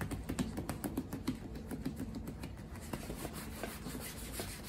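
Fingertips and a palm rapidly rub and buff the black leather of a women's Red Wing Iron Ranger lace-up work boot worn on a foot. Soft, dull brushing and scuffing mixes with quick, light taps in an uneven patter over a steady low hum. Each tap is short and dry with almost no ring.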